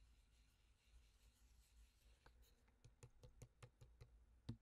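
A pink-filled plastic fragrance mist bottle with a gold collar and clear pump cap is held close while a fingertip and nail tap on the cap, collar and body. After about two seconds of quiet low rustling, about ten short, dry taps follow, each clicking bright and dying away almost at once. The last tap is the loudest.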